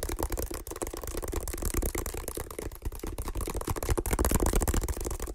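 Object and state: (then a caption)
Woven water hyacinth basket. Fingertips and nails scratch and tap on a medium hexagonal woven water hyacinth basket, hollow and empty. A dense, continuous crackle of dry scratches and quick taps comes through with a hollow, low-heavy body and short, dull decays.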